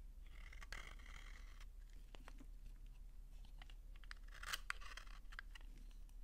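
A utility knife scrapes thin shavings off a solid, dry pink soap bar held in the hand. The result is a quiet series of crisp, crunchy scraping clicks and short rasps over a low background rumble, with brighter bursts near the start and around the four-and-a-half-second mark.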